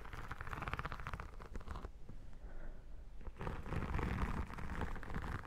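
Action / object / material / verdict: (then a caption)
scrape / embossed vinyl album cover / vinyl / none. Long dark nails tap and scratch across the embossed cover of an iridescent textured vinyl photo album lying flat, making dense, uneven scratchy rustling with a low, rumbling body. The scratching drops to a quieter, softer stretch in the middle before resuming more strongly toward the end.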